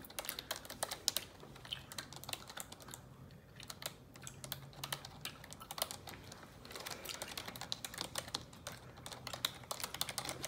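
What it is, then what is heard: Plastic computer keyboard. Long neon-yellow nails type on a black plastic computer keyboard, producing rapid, bright tapping clicks that die away almost instantly. The typing runs steadily throughout, with a brief quieter stretch near the middle and a faint low hum underneath.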